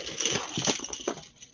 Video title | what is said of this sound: Spanning the Globe Ep. 24-33 | is it plastic or is it metal because it sounds plastic um the chain is plastic